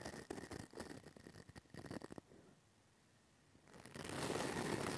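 A pink plastic brush with white bristles scratches over the hollow metal mesh grille of a small pink mini microphone. It makes rapid, fairly regular scratchy strokes for about two seconds, then the sound drops to near silence. A louder, steady, bright brushing rustle follows.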